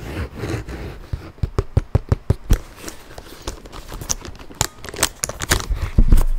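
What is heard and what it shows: A tan leather handbag with brass buckles is scratched and tapped with fingernails. Soft, low rustling scratches open the clip and run into a series of sharp, distinct taps with bright clicks. The taps become denser and louder toward the end.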